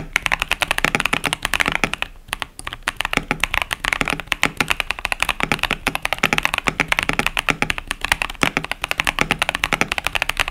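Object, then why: Plastic mechanical keyboard with plastic keycaps. Fingertips type steadily on a 65% plastic mechanical keyboard, a KBD67 Lite with tactile Boba U4T switches and pastel Cherry-profile plastic keycaps. The result is a fast, continuous run of short, bright clacking keystrokes with little low end and almost no ring, with a brief lull near the two-second mark.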